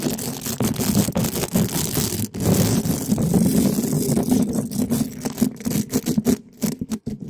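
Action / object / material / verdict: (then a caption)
scrape / metal mesh microphone grille rubbed with spiky soft plastic balls / metal mesh / none. Two small spiky soft plastic balls, one yellow and one red, held in black-gloved fingers, are rubbed and scratched fast against both sides of the rounded, hollow black metal mesh grille of a large condenser microphone. This gives a dense, continuous rough scraping and rustling with a boomy low-mid body around 250 Hz. Brief gaps and quick strokes break up the sound, mostly toward the end.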